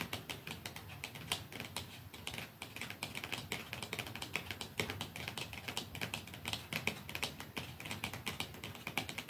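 Fingernails tap softly and slowly on a plastic mascara tube, making quick, light, bright clicks. The taps fall in a steady, irregular run throughout, each short and crisp with almost no ring.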